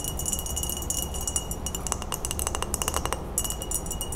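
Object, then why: Glass mason jar. An empty, clear, medium-size Ball glass mason jar is held in the hands and tapped all over with long acrylic nails. It gives a rapid run of light, bright clicks and chinks with a faint glassy ring, over a low steady hum.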